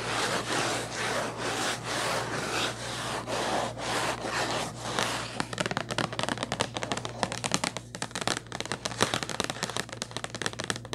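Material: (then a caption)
Cardboard. Long nails rub and scratch quickly across the surface of a hollow purple Kleenex cardboard tissue box. For the first five seconds, steady rhythmic broadband swishing strokes are heard. They then give way to a rapid, crackly run of sharp dry scratches over a constant low hum.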